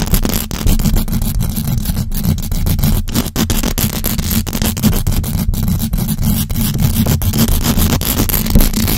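A large black USB microphone's hollow metal mesh grille is scratched fast by the long acrylic nails of both hands. The result is a dense, continuous scraping with a heavy low rumble and many rapid strokes that blur into a steady wash of noise.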